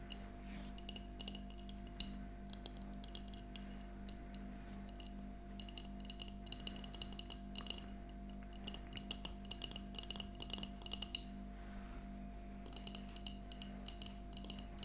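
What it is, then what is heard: Glass jar mug tapped with nails. A small, empty glass mason jar mug with a handle, an emoji sticker and a yellow plastic lid is held upright and tapped with long nails. Quick, bright glassy clinks come in bursts of rapid tapping separated by short pauses, each tap dying away almost at once. A steady low hum sits underneath throughout.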